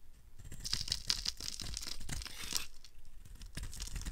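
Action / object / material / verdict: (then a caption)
scrape / bar of soap / soap / none. A blade carves into a solid, dry red Oasis bar soap held in the hand, and thick flakes break off. Crisp, bright scraping and crackling rise and fall through the clip, with a few sharper high ticks and a low rumble underneath.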